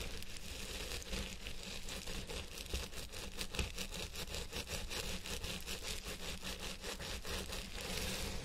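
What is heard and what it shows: Fingertips of both hands rub and scratch the fibers on both sides of a purple synthetic fiber wig resting on a head form. Dense, bright scratching and rustling runs steadily throughout, with quick repeated strokes over a low, constant hum.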